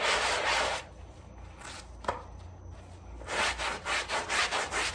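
A gloved hand scrubs a small wet fabric rug, covered in foam on a tile floor, with a white hand brush in back-and-forth strokes. Bright, broadband scratchy rasps come in bursts at the start and the end, with a quieter gap in between broken by one sharp click.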